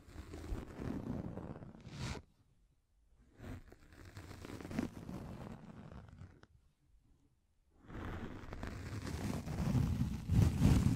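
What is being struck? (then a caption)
Microfiber pad. Long nails scratch a pink fluffy microfiber makeup remover pad, making a soft, muffled, low rustling scrape in dense bursts. The scratching stops twice for about a second each, then returns fuller and louder toward the end.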